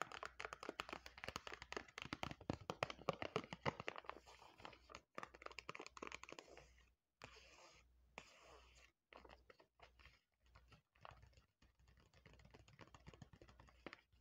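Long lilac acrylic nails tap and scratch the front of a flat, thin, sealed plastic foil Kocostar Foot Moisture Pack, a hand-sized cosmetic sachet filled with a soft mask, then pinch and crinkle its top edge. Quick, uneven clicks and scratchy rustles come loudest in the first four seconds, then softer crinkling follows in short bursts separated by brief silences.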